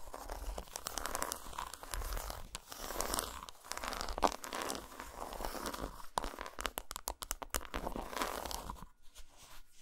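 Long nails scratch and tap a solid dark chocolate bar resting on a towel, first on its segmented side and then flipped over to its dotted underside. Dense, crinkly scratching mixes with quick, dry taps and clicks that die away almost instantly, with occasional sharper bright ticks over a soft low rumble.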